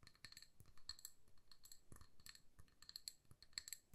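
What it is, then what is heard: Glass candle jar. Long nails tap a hand-sized amber glass jar filled with candle wax and wearing a paper label. The result is a quick, quiet run of light clicks and bright glassy clinks with very short ring, under a low background rumble.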